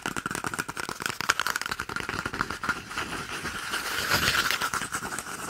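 Fingertips and nails rapidly tap and scratch a small, hollow, empty cardboard toilet paper tube held close to the microphone. Quick, irregular papery taps blur into a continuous dry scratching, with a faint hollow ring around 1.4 kHz and bright, crisp edges.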